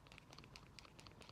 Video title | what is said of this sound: NON RUNNER MOTORBIKE FAULT FINDING AND GIVEAWAY!!! | if you shake it you can hear it ... sort of making and breaking which is what it should